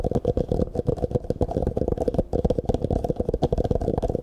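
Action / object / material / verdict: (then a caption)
tap / thin plastic cup / plastic / none. An empty, hollow clear plastic cup, held sideways close to the microphone, is tapped and scratched rapidly with the fingertips. It makes a dense, continuous stream of short, dull, hollow knocks with a steady low resonant tone and soft scratching between them, without any high, bright content.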